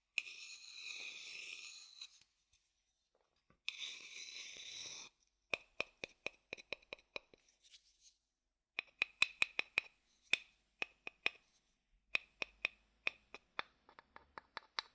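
A rounded, hollow wooden bowl is held upside down and played on its outer base with a wooden stick. Two stretches of soft, bright scratchy rubbing open the clip, followed by a run of about thirty quick, dry taps and knocks. Each tap has a short hollow ring near 2.5 kHz that dies away almost instantly.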